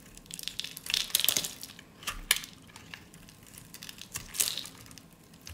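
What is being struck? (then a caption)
Bar of soap shaved with a blade. A solid white bar of dry soap, held in a hand with long orange nails, is shaved with a snap-off utility blade, peeling off thin crunchy curls. Bright, dry crackling scrapes come in uneven bursts, with almost no low end and very little ring after each cut.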